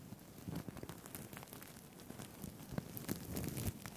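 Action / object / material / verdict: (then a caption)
scrape / sequined fabric tie with plastic sequins / plastic / none. Fingertips brush and flip the plastic sequins on a blue-green sequined fabric tie held in both hands close to a microphone. The result is a quiet, continuous rustle of soft crackles and tiny clicks, weighted toward the low end with faint bright ticks on top.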